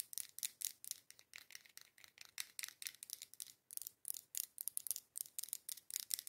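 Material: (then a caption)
Glass. Long acrylic nails tap and scratch the curved side of a dark-green, labeled, matte green glass candle jar filled with candle wax. The result is a quiet, rapid series of short, bright clicks and scraping strokes with almost no low end and no ring.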